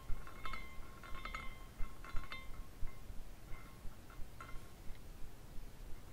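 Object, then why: Small glass carousel figurine with dangling glass pieces. A small clear glass carousel figurine with dangling glass horses is spun by its top spire with the fingers, so the glass pieces knock and tinkle against each other. Light, irregular clinks ring out in brief bright chiming tones over a low, quiet background rumble.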